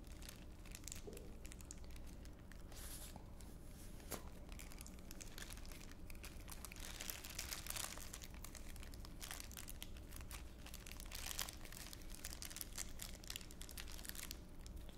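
An empty, thin clear plastic bag is crumpled and crinkled between the fingertips of both hands. It makes a dense, continuous stream of bright, crackling rustles at a quiet, steady level over a low background hum.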